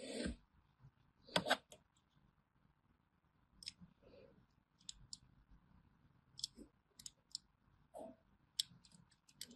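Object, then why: Solid bar of soap cut with a thin metal blade. A small thin metal blade scores diagonal grooves into a solid orange bar of hand soap held in the palm, scratching and cutting it. About a dozen short, crisp, bright clicks and scrapes come quietly and sparsely over a faint steady hiss.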